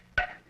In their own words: I suppose that's wood talking to me